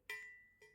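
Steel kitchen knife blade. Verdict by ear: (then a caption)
Crisp. A steel kitchen knife, pinched loosely, is tapped twice and gives a crisp, bright ring around 2 kHz that hangs on between the taps. The knife's crisp ring is a little better than that of the big knife it is compared with.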